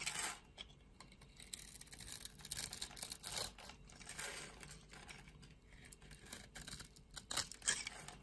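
A utility knife blade shaves flakes from a solid, opaque purple soap bar with a scored grid, held in the hand. Quiet, bright, crisp scraping and crackling strokes come in irregular bursts, with short dry ticks between them and very little low end.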